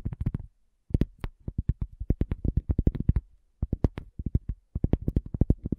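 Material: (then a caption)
Cork. Long fingernails of both hands tap quickly on a round, flat, solid cork coaster. The taps are short, dull, and low-pitched with almost no ring, coming in three rapid bursts separated by brief pauses.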